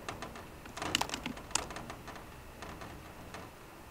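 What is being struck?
Aluminum laptop keyboard with plastic keys.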